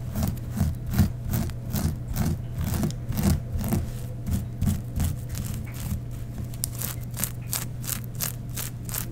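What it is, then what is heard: Sequined tulle fabric. Both hands with long nails scrunch, rub and scratch a black sheer tulle mesh garment embroidered with sequins. Quick, uneven bursts of crisp, bright rustling and scratching repeat throughout, over a steady low hum.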